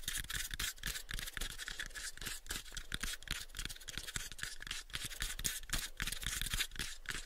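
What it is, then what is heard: Light wooden box. Fingertips rapidly tap a light, pale wooden cube box held in both hands while nails scratch across its surface. Quick, uneven, dull knocks with a low thump mix with a steady bright, dry scratching hiss. Each tap dies away almost at once.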